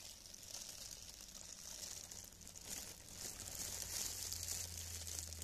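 Two hands in clear, thin cellophane plastic film gloves rub together and interlock, crinkling the film. The result is a continuous, bright, hissy crackle with a faint low hum underneath, growing a little louder over the last couple of seconds.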